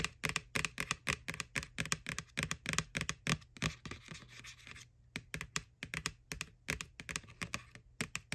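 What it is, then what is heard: Plastic candy bucket tapped with nails. Long nails tap rapidly on the side wall of a small, hollow, white plastic ghost Halloween candy bucket from McDonald's, right over its printed face. Each tap is a short, crisp, bright click with almost no ring and a slight hollow body. Near the middle the tapping gives way to about a second of steady scratching before the quick tapping resumes.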